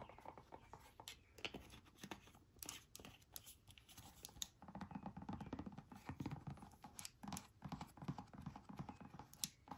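Long manicured nails tap rapidly on a small, hollow, bright green silicone travel squeeze bottle with a white plastic cap, held in hand and appearing empty. The result is a quiet, continuous stream of quick, dry clicks with bright, sharp ticks over soft, muffled low thuds, each tap dying away almost instantly.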